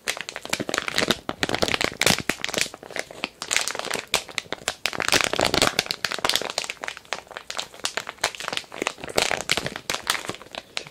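A medium, filled, glossy printed plastic package of kinetic sand is held up and crinkled with the fingertips. Dense, bright crinkling and crackling comes in rapid, irregular bursts for about eleven seconds, with very little low end and quick-fading snaps.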